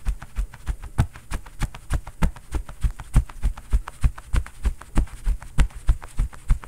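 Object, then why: Padded quilted cotton oven mitt. A bare fist rapidly pounds a soft, stuffed, quilted cotton oven mitt with a floral print worn on the other hand. The result is a fast, steady stream of dull, low thumps with almost no ring and nothing bright on top.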